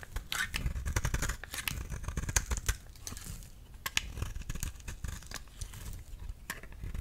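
A steel utility knife blade is scraped repeatedly across a flat, solid yellow soap bar held in the hand, shaving off thin curls. Each stroke gives a short, crisp, dry scrape with bright edges over a soft low rumble. The strokes come in a steady, quick series with no ringing between them.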